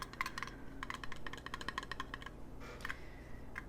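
Fingernails tap a fan-made circular metal button pin of the character Choso in quick, uneven bursts. Each tap gives a bright, clinking, coin-like click that dies away almost at once, over a steady low hum.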